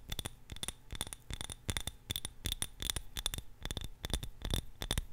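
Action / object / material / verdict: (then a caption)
tap / small glass jar of candle wax / glass / none. A small glass jar filled with purple candle wax is held in both hands and tapped and scratched with long nails. Quick, irregular clicks and scrapes each give a short, bright glassy ping near 3.5 kHz that dies away almost at once, over a soft low thump.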